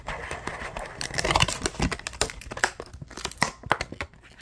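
A hollow, yellow-tinted clear plastic blister pack is scratched and crinkled with the fingers. Dense, fast crackling and crinkling fills the clip, with sharp, bright scratches and quick snaps that decay almost instantly.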